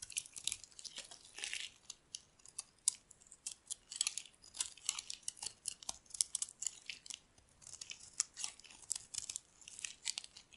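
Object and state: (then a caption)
Dry bar soap being carved. A metal blade scrapes and carves flaky curls off a solid white bar of dry soap held in the hand. The sound is a quiet run of short, crisp, crunchy scrapes, all high and bright with no low end, each stroke dying away almost instantly.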